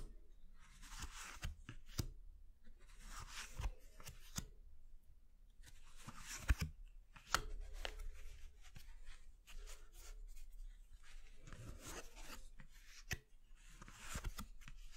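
Fingertips and short nails slide, rub and flick individual cards from a deck of thin coated-paper playing cards spread on a bamboo board as they are dealt onto the pile. Bursts of soft, bright papery rustling alternate with quieter gaps, punctuated by sharp, quick clicks and snaps from the flicked cards over a faint steady low rumble.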